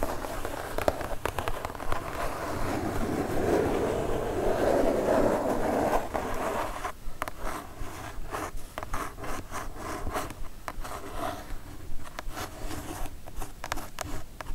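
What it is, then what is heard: Kraft cardboard mailer box. Long nails on both hands scratch and tap a kraft cardboard mailer box up close. A dense, papery scratching fills the first half. It then gives way to sparser, crisp taps with brief scratchy strokes between them.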